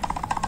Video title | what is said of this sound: Eps 77 - Review senter probest P250Z 250watt 18.000mah | Oblak-oblak itu kalau digerakin dan kalau diputar itu juga ada bunyinya seperti ini